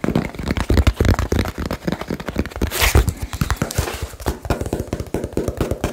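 Fingertips tap fast on a small hollow cardboard box close to the microphone, making a rapid run of deep, hollow thuds that die away almost instantly. Near the middle, a brief brighter scuffing rises above the low knocking.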